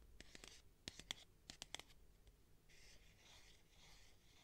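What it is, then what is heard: Plastic tube container tapped and scratched. Long nails tap about eight times, with sharp, bright clicks, on the wall of a clear plastic cylindrical tube with a black cap, about 20 cm long, holding sponges inside. The tapping then gives way to a soft, steady, high-pitched scratching across the plastic. The sound stays quiet and close throughout.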